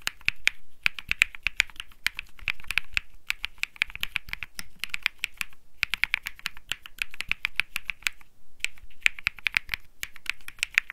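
A cream Think 6.5 mechanical keyboard with Bsun Lollipop switches and plastic keycaps is typed on continuously with fingertips. It produces rapid, crisp, bright clacks centred around 2.5 kHz that die away almost instantly, with brief pauses near 0.8, 5.7 and 8.5 seconds.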